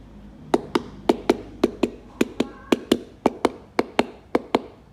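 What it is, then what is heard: Ripe durian. A Monthong durian is knocked repeatedly on its husk, giving 16 short, dull taps with a somewhat hollow tone. The fruit is ripe, and the hollow sound comes from a gap that forms between the soft flesh and the husk.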